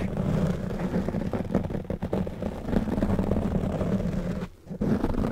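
Fingertips and short nails of both hands scratch and rub a black foam windscreen on a silver condenser microphone. The result is a continuous, dense, low, muffled scratching and rubbing rumble that drops out briefly near the end before resuming.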